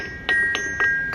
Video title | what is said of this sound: Glen GS Tongs Live Stream - go to 2:00 for sound to start | when he's tapping on the anvil you can hear the ring